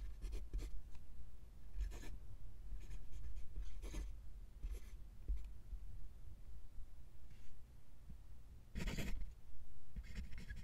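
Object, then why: Steel fountain pen nib on lined paper. A steel fountain pen nib writes cursive in green ink on a flat sheet of white lined paper. Short, scratchy strokes of the nib rasp across the paper in bursts, over a low, steady rumble.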